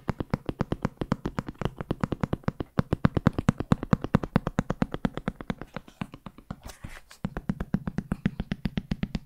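Fingertips tap rapidly and steadily on a large, black, hollow JBL hard-shell headphone case with a molded shell. Each tap is a short, dry, hollow knock centered low, around 170 Hz, with almost no high content. The tapping briefly thins into a softer, brushier stretch near the 7-second mark before resuming.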